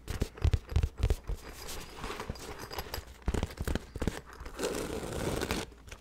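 A hollow, soft black nylon fabric bag is held beside the microphone and scratched and tapped with the fingertips and nails. Clusters of dull, low-weighted taps alternate with longer stretches of crinkly, hissing scratching across the fabric, the sound staying close and dry with little ring.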